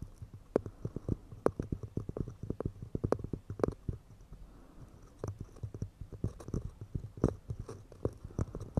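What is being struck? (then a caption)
Pine wood cups. Fast, delicate fingertip-style tapping on pine wood cups, with a rapid run of short, dull, woody knocks. Each tap dies away almost instantly, with most of the energy low and a light tone near 430 Hz. The taps ease off briefly in the middle before picking up again.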